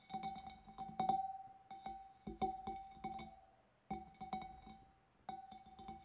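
Long nails tap the wavy rim of a large, empty, hollow clear glass fish bowl in quick, irregular bursts separated by short pauses. Each light tap brings out a sustained glassy ring near 780 Hz with faint bright overtones, decaying smoothly between clusters at a soft, quiet level.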